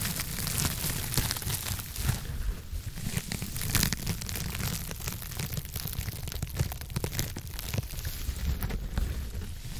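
Long nails scratch and rub a soft blue foam scrub sponge with a white backing, pressed against the microphone side. The result is a steady, dense crackling rustle with a heavy low rumble and bright, crisp scratchy texture, rising and falling slightly throughout.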